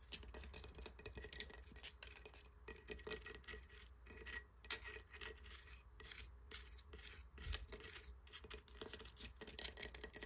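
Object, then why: Encrusted conch shell. Fingernails scratch and pick along the textured edges and crust of a large, hollow, crusted conch shell. The result is a quiet, bright, dry rasping with scattered short clicks, over a steady low hum.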